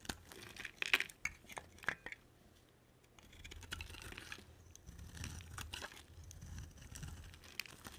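A box cutter blade carves a solid, palm-sized green striped bar of soap, making sharp, bright scraping clicks in the first two seconds. After a short lull, it settles into softer, continuous dry shaving and crumbling with a faint low rumble beneath.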